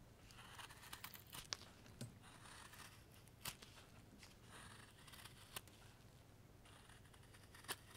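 A steel knife shaves curls off the end of a solid, pale wooden carving block held in a gloved hand, using carving strokes. Quiet, dry scraping and rasping runs throughout, broken by sharp, bright clicks and snaps as the blade bites and releases, over a faint low hum.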